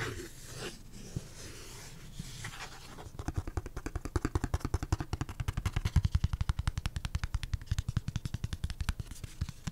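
A thin, flat, solid printed pulpboard Black Raven beer coaster, held in the hand, is scratched with fingertips and short nails for about three seconds, giving a soft, low rustling scrape. It is then tapped in a fast, uneven patter of dull, short-lived thuds that are mostly low in pitch with little brightness, continuing to the end.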